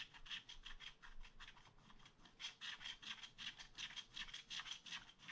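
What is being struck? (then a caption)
Wax-coated scratch art paper scraped with a wooden stylus. A wooden stylus scratches a tree trunk into a black wax-coated scratch art paper page in a spiral pad. It makes a steady run of quick, bright rasping strokes with a high, hissy edge, each stroke separate in the loudness, at a brisk but uneven pace.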